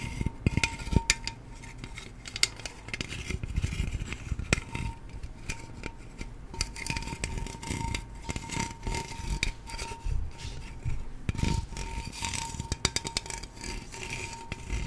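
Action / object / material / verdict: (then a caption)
tap / small aluminium drink can / aluminium / none. A small aluminium pineapple-coconut juice can, hollow and held up close, is tapped and scratched along its printed body by long nails. Many quick, dry clicks and taps sound over a low rumble, with bright scratchy rasps and a faint steady tone in the background.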